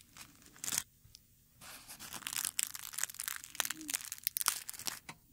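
A dried dark red rose on its stem has its brittle petals stroked and crinkled with fingertips. Quiet, bright, dry crackling and rustling comes in short bursts and sharp snaps, with brief gaps between them.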